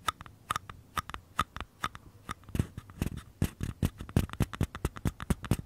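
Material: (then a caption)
Paper. Fingernails tap and scratch the outer walls of small, empty, hollow mini paper cups, one held on its side in each hand. Sharp, dry clicks come at a steady pace at first, each with a faint papery ring, then speed up into a denser, busier run of taps with a hollow low thump under them. Faint scratching fills the gaps between hits.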